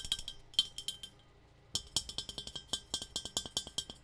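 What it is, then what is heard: Tea kettle tapped. A metal tea kettle is tapped in quick, light strokes, giving bright clinking metallic ticks with a high ring near 3 kHz that dies away almost instantly. About 27 taps fall in two runs separated by a short pause, the second run steadier and more rhythmic.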